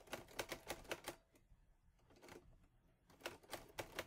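Fingertips with painted nails press the keys of a teal metal-bodied Olivetti Lettera 22 portable typewriter with paper loaded, typing in quick strokes. The typebars make sharp, bright clacks in a fast run, then go quiet for about two seconds before a second burst of strikes. Each clack is short and dry and dies away almost at once.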